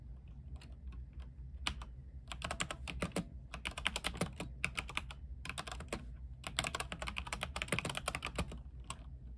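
A compact mechanical keyboard with white plastic keycaps and a silver case, lit blue, is typed on with the fingertips of both hands. Bursts of quick, bright, clacky keystrokes come in runs separated by short pauses, over a steady low hum.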